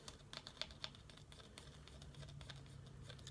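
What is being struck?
Vacuum-packed ground coffee brick in a cardboard box.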